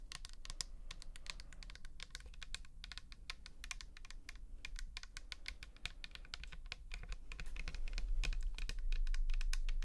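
Long nails tap rapidly and unevenly on the side and label of a pink plastic toner bottle filled with liquid, held up close. The result is a stream of sharp, bright clicks over a steady low hum, growing louder toward the end.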